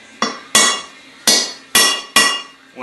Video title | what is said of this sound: Learning Jr Dragsters:Clearencing and building a Blockzilla; Part 2 | you can hear the pitch change when you actually got it seated